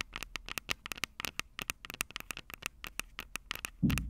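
Long purple acrylic nails tap and scratch the metal-grilled microphone capsule heads of a plastic-bodied Tascam DR-05 handheld recorder held upright on a table. About twenty quick, crisp clicks ring out with short, bright ticks over faint scratching. The clip ends with a louder, boomy low thump near 200 Hz.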